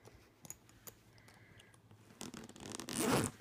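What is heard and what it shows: Fingers grip the metal zipper pull on the front pocket of a purple jacquard fabric suitcase with black leather-look trim and quickly zip it open and closed. Faint ticks and rustles come first, then a bright, rasping zip starts at about 2.2 seconds and grows louder, peaking near 3.1 seconds.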